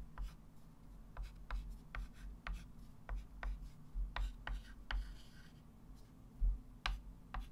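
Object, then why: Chalk stick on a wooden-framed chalkboard. A white chalk stick writes numbers on a small, solid, wood-framed flat chalkboard, making short, dry scratch strokes and sharp taps that click brightly and die away almost at once. A steady low hum sits underneath throughout.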